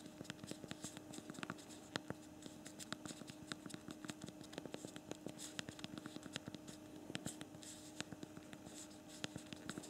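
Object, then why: Small plastic phone keys. Rapid, quiet, dry plastic key clicks come from a small BlackBerry Priv smartphone as both thumbs type quickly on its backlit physical plastic QWERTY keyboard. The short, sharp taps run in a dense, uneven stream for the whole clip, over a faint steady low hum.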